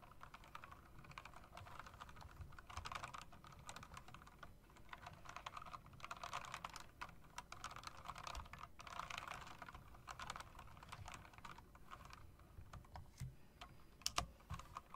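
A hand with long dark nails types on an RGB mechanical typewriter-style keyboard with round plastic keycaps set in metal rims. Dense, continuous clicking and clacking keystrokes with bright, sharp attacks run throughout at a soft level, with a few louder strikes near the end.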